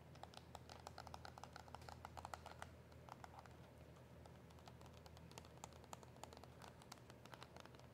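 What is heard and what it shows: A KISS gel press-on nail retail package, with a white cardboard backing and a clear plastic blister holding the nails, is tapped with long nails. Quick, light, irregular clicks patter steadily over a low, constant hum.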